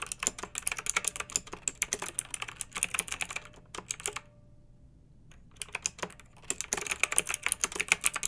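Long nails and fingertips of both hands type on a pink backlit mechanical keyboard with round, typewriter-style plastic keycaps resting on a fluffy rug. Rapid, bright, clicky keystrokes with crisp high clatter fill the clip, broken by a brief near-silent pause in the middle. The typing then resumes at the same quick pace.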